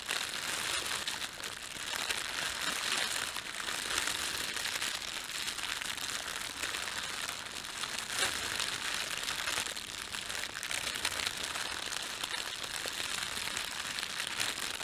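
Fingertips gather and crumple the film of an empty, thin red printed plastic bread bag. A steady, bright crinkling and crackling runs throughout at an even level, with almost no low end.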